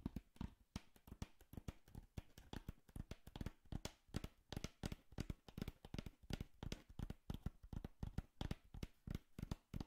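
A small, empty, hollow brown corrugated cardboard box, held beside the mic, is tapped rapidly with long manicured fingernails and fingertips. The result is a quiet, steady stream of soft, dull, hollow thumps with a low body, light clicky edges and almost no ring.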